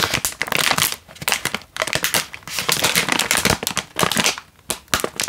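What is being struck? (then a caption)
Instant noodle packet in plastic wrapper. A single full Indomie instant noodle packet in a crinkly plastic wrapper is held in one hand and squeezed and crinkled with the fingers. Dense, bright crackling crinkles come in bursts, with short quiet gaps in between.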